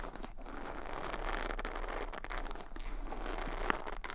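Long nails run over and flick the bristles of a wooden paddle hair brush held close. The result is a steady, dense crackling scratch centered in the midrange, with one sharper click near the end.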